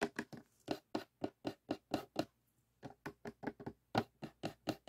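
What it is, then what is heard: Cardboard jigsaw puzzle box. Fingernails scratch and fingertips tap on the glossy printed lid of a closed cardboard jigsaw puzzle box. The result is a quick run of soft, dry taps and scrapes with a brief pause in the middle, each one short with almost no ring and a faint papery brightness on top.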